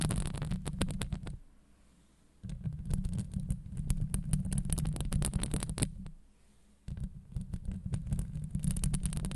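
Long acrylic nails on both hands scratch and tap the hollow, rounded steel wire-mesh grille of a Blue Yeti microphone head. The result is a dense, low rumbling scrape centered near 150 Hz, overlaid with rapid, irregular clicky taps that reach up into a bright hiss. The sound drops to near silence twice, around 1.5–2.4 s and 6–6.8 s, before the scratching resumes.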